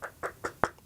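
Four short, dull knocks on a plastic speaker enclosure, evenly spaced with the last one the loudest. Each hit is a brief midrange thud that dies away almost at once, and the enclosure sounds solid and good.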